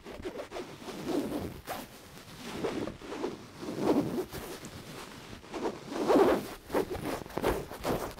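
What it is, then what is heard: Cotton pillow. A medium, soft, white cotton pillow with cat prints is scratched and rubbed with long, dark-painted nails and fingertips, then held up and squeezed. The result is a series of raspy, zipper-like fabric strokes and soft rustles that swell and fade in uneven bursts, with a muffled low-mid body and little bright content.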